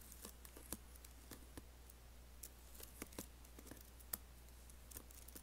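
Fingertips lightly type on an Apple laptop keyboard with black plastic keys and an aluminium body. Soft, short, bright key clicks come at an uneven pace over a steady low hum. Each click is quiet and dies away almost at once.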